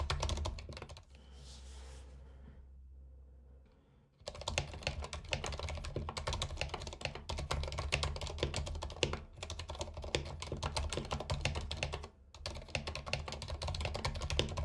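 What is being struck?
Mechanical keyboard with plastic keycaps.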